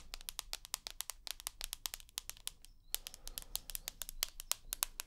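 Long nails tap quickly across the white glass front of a rose gold iPhone with an aluminium body. The result is a steady stream of sharp, bright, clicky taps that die away instantly, with a short pause near the middle and a faint low hum underneath.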